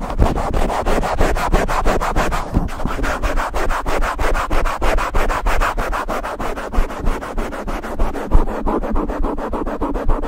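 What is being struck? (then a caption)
Foam microphone windscreen. Fingertips and palms rub and scratch directly on a soft, black open-cell foam windscreen fitted over the capsule of a silver Blue Yeti microphone. The result is a steady stream of fast, rhythmic swishing strokes that sound close and muffled, with deep, heavy low end and almost no high brightness.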